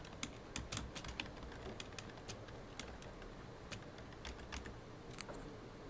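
Fingertips, mostly of the right hand, type and tap keys on a full-size black plastic computer keyboard. About seventeen short, sharp, bright clicks come at an uneven pace over a low, steady background hiss, each dying away almost instantly.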